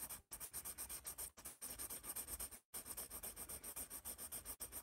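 A yellow pencil scratches across a white paper sketch pad held upright while drawing a large letter A. The quiet, dry, bright graphite-on-paper scratching comes in a rapid, steady run of short strokes, with brief pauses near 0.3, 1.4 and 2.7 seconds.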